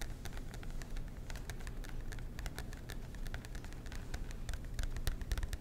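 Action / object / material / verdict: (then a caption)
tap / cardboard notebook cover / cardboard / none. Fingernails tap and scratch the cardboard cover of a marbled composition notebook held upright by the mic, producing a rapid stream of short, dry clicks with bright edges over a steady low rumble. The taps come thick and uneven, growing somewhat louder toward the end.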